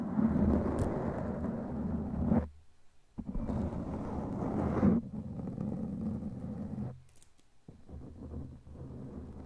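Long glittery claw nails scratch a black foam windscreen on a microphone, producing dense, muffled, rumbling scratching concentrated in the low range. The scratching comes in sustained bursts separated by brief near-silent pauses, and the last stretch is softer.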